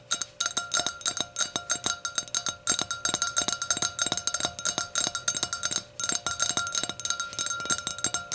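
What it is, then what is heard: Hurricane glass tapped with fingernails. Long nails tap the rim of the round foot of an empty, clear glass hurricane glass. The result is a rapid, irregular stream of bright, clicky taps, each with a short glassy ring and a faint steady tone underneath.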